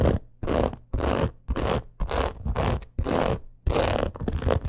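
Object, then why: Crocodile-embossed leather purse. Long acrylic nails scratch quickly over a black crocodile-embossed leather purse. The sound is a series of rapid, dry, rasping bursts, each with a low rumble and a bright scratchy hiss, separated by short pauses. The strokes repeat in an uneven rhythm and stop sharply, with no ringing afterward.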